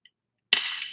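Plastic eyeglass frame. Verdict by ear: Cheap.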